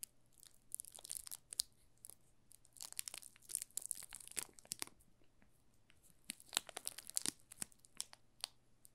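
Fingertips press and crinkle the plastic film wrapped around a solid yellow bar of soap held in the hands. The result is quiet, bright, dry crackles and crinkles in irregular bursts, with denser clusters early and near the end over a faint steady low hum.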